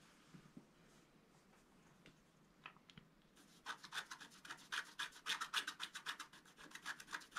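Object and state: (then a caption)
Scratch-art card being scratched. A thin wooden stylus is held over a flat A4-size scratch-art card, its black coating over a colored print, lying on a white table while the other hand holds the card; only faint, scattered ticks are heard at first. After about three and a half seconds the stylus begins scratching the coating, producing a quick, fairly steady run of dry, bright rasping strokes, roughly four per second.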